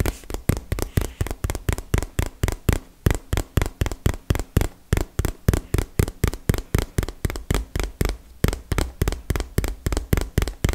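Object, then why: Small cardboard box. Rapid, slightly uneven taps of long fingernails on a small, hollow, printed cardboard retail box held close to the mic, about 41 hits at roughly four per second. Each tap is a short, dry, hollow thump with a deep, low body and almost no ring.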